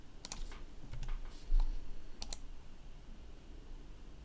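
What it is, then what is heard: Plastic laptop keyboard. Fingertips press keys on a black plastic laptop keyboard with slow, spaced-out keystrokes. Soft, bright clicks sit over a steady low hum, with a brief louder thump around the middle.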